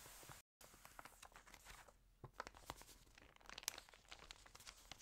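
An open, glossy, water-damaged Style at Home paper magazine lies on a green table while long nails and fingertips rub and crinkle its wavy pages and turn them. Dense, bright crinkling and crackling fill the clip with many small sharp snaps, broken by a brief silent gap near the start.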